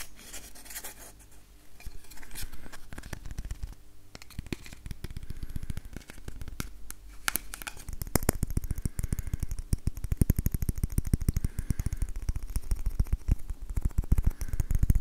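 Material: Wood.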